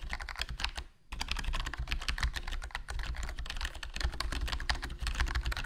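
Fingertips type continuously on the black plastic keycaps of a HyperX Alloy Core RGB plastic membrane gaming keyboard with a foam mod and a hollow black plastic case. A dense stream of short, dry clicks and soft thuds carries a strong low undertone, with only a brief pause near the one-second mark.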